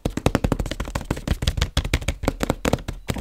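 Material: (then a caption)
Plastic. A printed white-and-blue plastic gingerbread bag, hollow and filled with gingerbread, is held upright and tapped quickly with long red-painted nails and fingertips. The result is a fast, dense stream of short, dry taps with a heavy low thump and brief crinkly clicks that die away almost instantly.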